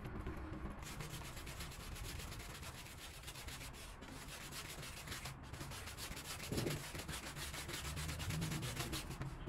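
A small, wet, foamy woven rug on the floor is scrubbed with a long-handled green push broom with stiff bristles, worked in back-and-forth strokes. The clip is a steady rasping, scratchy scrub, with quick repeated strokes over a low, rumbling base. A brief louder swish comes near the middle of the clip.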